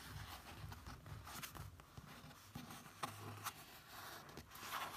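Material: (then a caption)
Paper. Fingertips trace and rub across a printed photo page in an open paperback book. The result is a quiet, continuous papery rubbing and swishing with a low soft rumble, broken by a few brief, sharper touches against the page.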